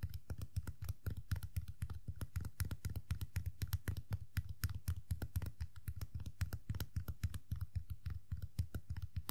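Long nails and fingertips tap rapidly on the black top hat of a small hollow vinyl Tuxedo Mask Funko POP figure. The result is a dense, uneven stream of short, dry clicks over a low hollow thump around 90 Hz.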